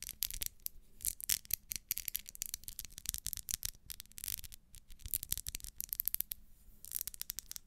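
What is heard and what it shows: Long nails scratch and tap along the ribbed wax side of a small, solid pink pillar candle. The result is a quiet, bright run of crisp scratching and rapid clicking taps, each dying away almost instantly, with short pauses between bursts.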